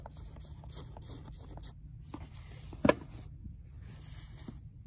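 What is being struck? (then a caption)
Worn paperback book spine, paper and cardboard. Long nails scratch and scrape the torn paper and cardboard of a worn, old paperback book spine. Soft, dry scratching textures come in bursts over a low background hush, with one sharper, louder scrape partway through before the quiet rubbing resumes.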